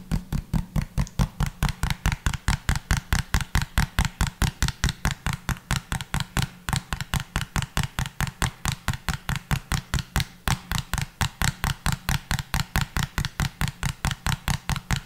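Fingertips tap and scratch a small, hollow pink plastic bottle with a pink cap, giving about 68 quick, short taps in a steady, rapid rhythm. Each tap is a dull, low hollow thump with a light bright click on top that dies away almost at once.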